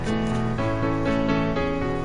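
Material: Nothing is struck.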